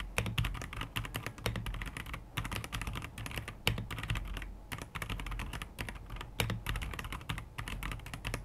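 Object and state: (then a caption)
Plastic mechanical keyboard. A white AKKO PC75B 75% mechanical keyboard, about 33 cm wide, with plastic keycaps and a translucent plastic case with RGB underglow, rests on a wooden desk. It is typed on continuously with the fingertips of both hands. The result is a dense stream of rapid, short, crisp plastic taps from the keys and switches, with a low thump under each keystroke and a bright clicky edge on top.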